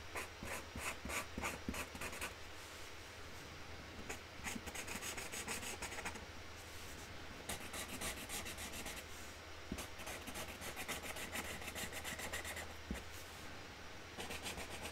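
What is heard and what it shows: A hand colours in a flower shape on a flat cardboard box lid with a magenta Sharpie marker, making quick, uneven, scratchy rubbing strokes. The bright rasping bursts come in irregular runs and pauses over a steady low hum.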